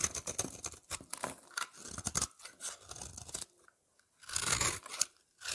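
A utility knife blade scrapes a solid oval lavender soap bar with a scalloped edge, held in the hand, shaving off thin flakes. Quick, bright, crisp crunching and scraping strokes come in uneven bursts, broken by a brief silence before a louder final run of shaving.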